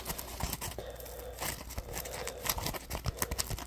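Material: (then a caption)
Polymer foam. A yellow, textured, solid polymer foam Scrub Daddy sponge is held close while fingers scratch and squeeze its edge. The result is a dense run of quick, dry scratching and crinkly crackles with bright, high edges over a low, steady rumble.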